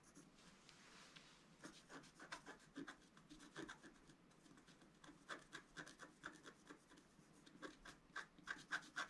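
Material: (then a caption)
Waxed paper. A wooden stylus rubs and rasps repeatedly across the wax coating of a flat scratch-art paper sheet. It makes a quiet run of short, dry scraping strokes with a mid-range rasp around 1.5 kHz and bright edges, and very little low end.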